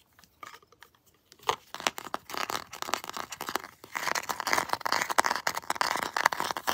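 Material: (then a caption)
Plastic. Long blue nails tap and scratch the plastic foot soles and textured limbs of a Predator action figure. After a few faint, sparse clicks, a dense run of crisp, dry taps and raspy scratches follows, centered in the midrange with a bright edge and almost no low end. The sounds are short and dead, with no ring.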